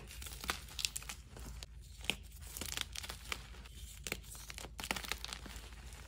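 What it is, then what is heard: Gym chalk chunks being crumbled. Bare hands with nails squeeze and crumble solid chunks of soft, green-dyed gym chalk with glitter between the palms over a tub of crumbled powder. The result is a steady, dry, bright crinkling and crumbling with many sharp, short crunches scattered throughout, over a faint low hum.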